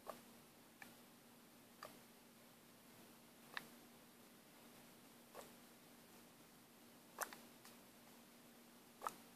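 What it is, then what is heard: Plastic paint bottle with mixing ball. A plastic paint bottle with a mixing ball inside is shaken and turned by hand, and the ball gives sparse, irregular short ticks against a quiet background. Each tick is brief and dry with a bright edge, and a faint steady low hum runs underneath.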